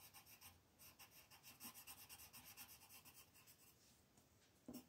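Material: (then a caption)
Paper. A green colored pencil shades a flat white paper mandala coloring sheet on a table, with the other hand resting on the paper. Quick, steady back-and-forth strokes make a soft, bright, scratchy rubbing that rises and falls with each pass, then eases before a brief louder scrape at the very end.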